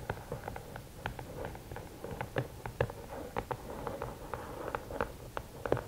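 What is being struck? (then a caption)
Rigid cardboard gift box. Long nails tap rapidly on the lid top of a closed, hollow red and black rigid cardboard gift box. The result is a quick, uneven patter of short, dull, hollow clicks with a low thump under each tap and little high-end brightness.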